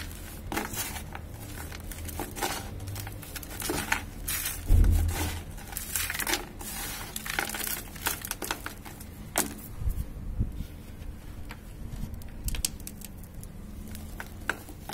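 Both hands scoop gritty dry cement powder and granules and let them fall, then hold and crumble a large solid cement clump over a bucket. Dense, dry crackling and sandy crumbling run throughout, with soft low thumps beneath and a heavier crunching burst a little before the midpoint.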